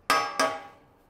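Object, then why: Cast iron griddle plate struck with an iron tool. The treated cast iron plate of a Weber Slate griddle (plancha) is struck twice with an iron tool to show it can be hit with iron without rusting. Each strike gives a bright metallic clang with a clear ring around 1.26 kHz. The second clang fades out over about half a second.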